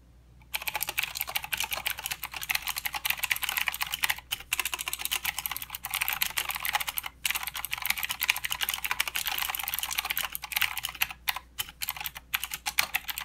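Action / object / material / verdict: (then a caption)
tap / mechanical keyboard with plastic keycaps / plastic / none. Fingertips of both hands type continuously on a full-size mechanical keyboard with plastic keycaps and blue clicky switches. A dense stream of bright, sharp clicks with almost no ring runs throughout, broken only by brief pauses near 4, 7 and 11 to 12 seconds.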